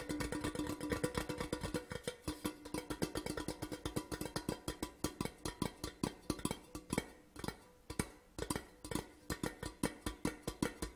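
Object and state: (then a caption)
Empty metal tin tube. An empty, large, hollow, printed metal Port Charlotte whisky tin tube lies on its side and is tapped quickly with the fingertips and nails of both hands. It gives a rapid, steady run of short, dry clicks and knocks over a faint ringing tone near 290 Hz. Each tap dies away almost at once.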